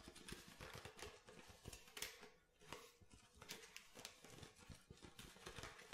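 Fingernails tap the base and body of an empty clear plastic water bottle with a blue label. The result is a quick, irregular run of crisp, bright plastic clicks with a hollow undertone around 2.3 kHz. Each tap dies away almost at once, with a brief quieter lull midway.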